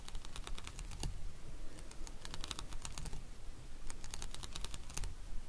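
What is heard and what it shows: Fingernails tap and scratch across the bumps of a palm-sized, red, translucent plastic paw-shaped acupressure massager held in the hand. The result is a rapid, irregular patter of short, dry, bright clicks with almost no ring, over a steady low rumble.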